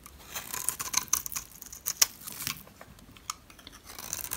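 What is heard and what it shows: A metal blade shaves the edge of a solid, light green, rectangular dry soap bar held by fingers with red nails. The result is a run of crisp, bright scraping and crackling bursts, with a few sharper snaps and almost no low end.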